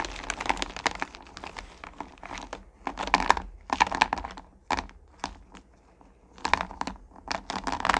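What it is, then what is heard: Candy corn poured into a plastic pail. Hands scoop and drop handfuls of small solid pumpkin candy corn back into a purple plastic pail. Dense bursts of bright clicking, rattling pieces come in clusters with brief quieter gaps between them. Each tap is sharp and dies away almost at once.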